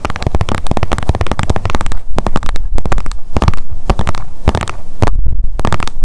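Long nails tap rapidly on the surface of a blue plastic sunscreen squeeze tube held in the hands. The result is a dense, fast run of short, dry clicks over a deep, thumpy low end, with each tap dying away almost instantly.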